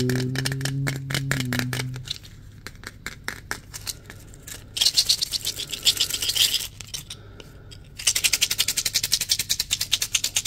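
A small cylindrical plastic cream tub with a white, purple and red "Doctor's" label, apparently filled, is tapped and scratched with fingertips and nails while being turned in the hands. Quick, bright clicking taps come first over a low tonal hum. These give way to bursts of rapid, hissy nail scratching that fade in and out.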